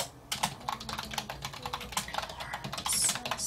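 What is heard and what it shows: A black plastic computer keyboard with hollow plastic keys is typed on with the fingertips of both hands in a short burst. Rapid, bright, clicky keystrokes sound with a hollow plastic tone and very little low end. Each tap dies away almost at once.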